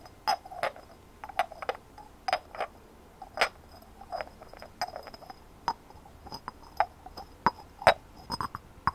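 Long fingernails tap rapidly on a hand-sized white ceramic ornament with a rough textured surface and glazed blue decorations. About 26 sharp, irregular clicks sound over a quiet background, each a short, bright tick with a mid-range ring near 660 Hz that fades almost at once.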